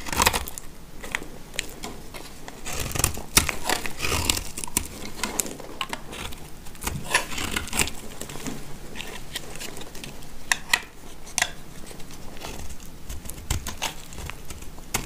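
A box-cutter blade scrapes along a hand-sized, solid, dry light-blue soap bar held in the hand, shaving off thin dry curls. The result is a steady run of crisp, crinkly scraping and crackling, with frequent sharp, bright snaps over a low rumble.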